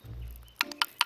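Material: Pine wood.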